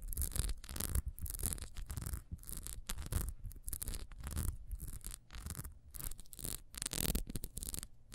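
Long nails scratch quickly across the horizontal ridges of a small, solid orange ribbed wax beehive candle, held first upright and then on its side. The result is a run of fast, rasping scratch bursts with brief pauses between them. Each burst carries a bright, hissy edge over a low, dull rumble.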